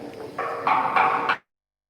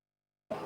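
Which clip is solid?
The second.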